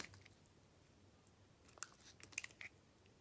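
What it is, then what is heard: Bar soap being sliced. A metal blade, held by a hand with dark painted nails, cuts firm curled slices off a solid white bar of soap. After a quiet start, seven short, crisp, bright crunching scrapes cluster in the second half, with almost no low end and no ring after each one.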